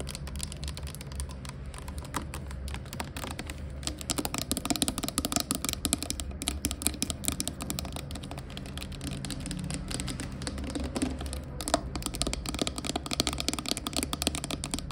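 Long acrylic nails tap quickly on the body and the clear plastic cap end of a hollow, clear plastic Glade air freshener bottle of about 460 ml with liquid inside. The result is a fast, continuous stream of short, dry plastic clicks that stop almost instantly, over a steady low rumble.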